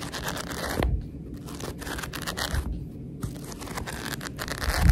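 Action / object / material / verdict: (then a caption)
scrape / paperback book with paper pages / paper / none. Long red nails scratch along the page edges of a thick paperback book with paper pages and riffle through them. A steady dry, papery scratching and fluttering rustle runs throughout, with brief bright bursts and a louder swell toward the end.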